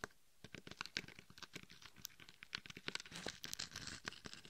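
Long acrylic nails scratch and tap the face and sides of a life-size hollow mannequin-head binaural microphone coated in chunky gold and red glitter. A quiet, bright, gritty scratching is broken by many sharp, dry taps that stop instantly with no ring.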